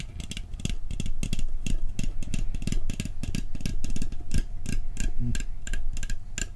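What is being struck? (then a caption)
Steel cookie tin. A round, hollow blue steel cookie tin is held on its edge while its lid is tapped rapidly with fingertips and nails. The taps form a quick, uneven clicking pattern, with bright nail clicks over a low, hollow thump near 121 Hz. Each tap dies away almost at once.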